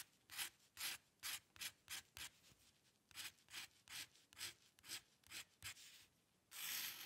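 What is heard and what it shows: The metal nib of a dip pen makes short hair strokes across a flat sheet of white drawing paper, producing a rapid series of brief, bright scratching strokes with almost no low end. A longer, sustained scratch closes the clip.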